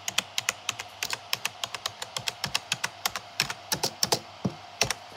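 Fingertips type quickly across a black plastic gaming keyboard with hollow keycaps, making about 30 fast, distinct key taps over five seconds. Each press is a short, bright, clicky tap with a light thud underneath and almost no ring, over a faint steady hum.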